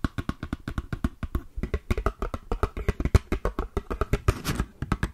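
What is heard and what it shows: A small, hollow red-and-yellow printed cardboard matchbox holding matches is tapped and scratched with long green nails. A quick, steady run of dull, low, hollow knocks sounds with almost no ring, broken near the end by a brief rough scratch.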